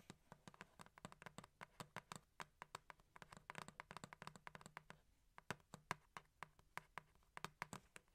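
Long acrylic nails tap and scratch the top and sides of a printed cardboard box, first held in the hands and then set down. Dozens of short, dry, bright clicks come in a rapid, uneven rhythm over a soft scratchy rustle. After a brief lull near the five-second mark, the taps return sharper and more spaced out.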